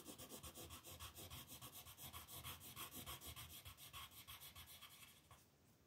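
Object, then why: Wooden colored pencil on a paper sheet. A green wooden colored pencil is rubbed in fast shading strokes across a flat, thin paper mandala coloring sheet lying on a table. The result is a steady, rhythmic, bright scratchy rubbing with a soft low thump under each stroke, repeating rapidly before trailing off near the end.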